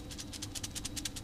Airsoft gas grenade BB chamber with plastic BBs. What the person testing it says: now we hear that it's already full